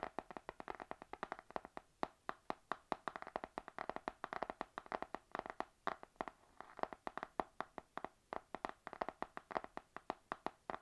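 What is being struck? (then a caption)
Laminated card notebook cover. Long nails of both hands tap rapidly on the laminated card cover of a panda spiral notebook. The result is a quick, steady stream of short, dry clicks centered around 730 Hz, each dying away almost instantly, with a slightly denser flurry in the middle of the clip.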